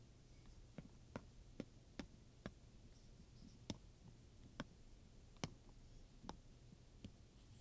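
A wooden pointer taps and scratches the metal studs on a black studded leather handbag. Ten short, sharp clicks ring out at uneven intervals over a quiet, low, steady background. Each click is brief and bright, and dies away almost at once.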